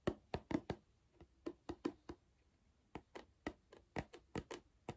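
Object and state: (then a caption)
Hollow cardboard crisp tube. Fingers knock on the side of a small, hollow cardboard Pringles crisp tube, and fingertips tap its plastic lid. Eighteen short, dry, hollow knocks with a low-mid tone come in uneven clusters. Each dies away almost at once.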